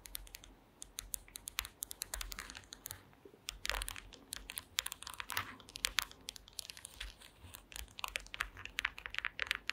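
Long green acrylic nails tap rapidly across a woven wooden slat mat, making dense, bright, dry clicks with almost no ring, much like keyboard typing. The taps come in quick bursts, growing closer and denser toward the end in a close-up.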